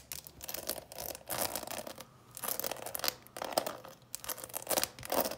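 A clear plastic coffin-shaped box full of candies is held in the hands and tapped with long nails along the lid and sides, and may be tilted so the candies shift. Bursts of dry, scratchy tapping and crinkly rattling come in quick clusters with short pauses, bright and hollow with a midrange tone and almost no low end. Each tap dies away almost instantly.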